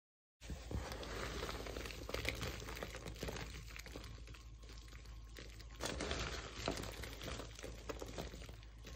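A large pile of dry pink-purple shaved soap pieces on a wooden floor is squeezed and crushed between bare fingers and palms. After a brief silence, a dense, continuous crackling crunch begins and runs steadily, with a low rumble underneath and bright crinkly grit on top. The crunching swells louder around the six-second mark before settling back.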